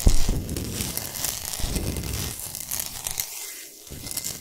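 Long nails scratch fast across the top surface of a large, flat, rectangular solid block of pink Himalayan rock salt, using one or both hands. The result is a dry, gritty rasping with a crinkly, tearing texture, soft low thumps and a bright hiss. It eases into a brief near-silence late in the clip before the scratching picks up again.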